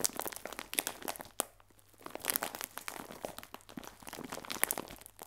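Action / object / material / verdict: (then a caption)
scrape / clear plastic film bag filled with biscuits / plastic film / none. A clear plastic film bag full of biscuits is pressed and crinkled with fingertips, giving dense, dry, bright crackles and crunches with almost no low end. The crinkling runs steadily, pauses briefly near the middle, then resumes with sharp snaps scattered throughout.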